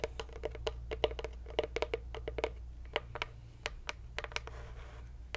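Long white acrylic nails tap and scratch on the engraved lid and sides of a small, light-wood box or plaque with a ribbon-bar decoration, apparently hollow, held in both hands at chest height. A quick run of short, dry clicks with a hollow knock near 450 Hz, with brief scratches between the taps over a low steady hum.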